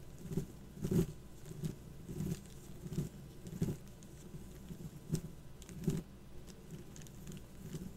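Long black acrylic nails tap and scratch over a flat, cardboard-backed sheet of twelve raised glossy plastic skull stickers lying on a white table. Soft, dull taps sound in an uneven patter, mixed with brief scratchy rustles. Each tap is quiet and low, dying away almost at once.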